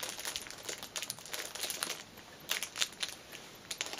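A small black fabric pouch wrapped in clear cellophane lies on a cushion while fingers and nails crinkle and scratch the loose wrapper ends. Many quick, bright, crackly crinkles come in irregular bursts, with almost no low end.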